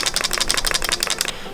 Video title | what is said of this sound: I MADE ART?! (And... something happened in the process T_T) | when you shake it there's something inside